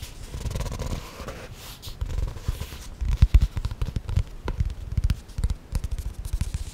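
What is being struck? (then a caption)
Hardcover notebook with cardboard cover. A small hardcover notebook with a cardboard cover printed with a castle and flowers is held close to the microphone. Long painted fingernails scratch and tap its solid, flat surface. At first there is a soft, low rustling scrape, then a rapid series of dull, muffled taps and scratches.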